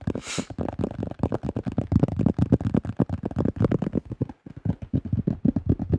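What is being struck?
Thin plastic flying disc.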